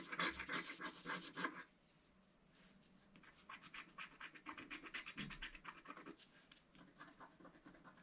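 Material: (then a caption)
Coated paper. A wooden stylus scratches repeated short strokes across a black coated scratch-art card in a book, producing bright, dry rasping scrapes. A dense burst of strokes comes first, then a brief near-silent pause, then a steady run of quick scratches at about three per second that slowly grow softer.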